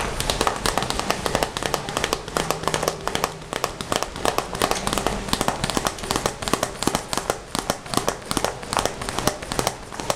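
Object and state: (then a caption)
Vinyl pencil case. Fingertips rapidly tap and scratch the front of a closed, hollow red glossy vinyl Hello Kitty pencil case, including near its glitter lettering. The result is a dense, crackly stream of short, dry clicks and scrapes with bright, papery texture and very little ring.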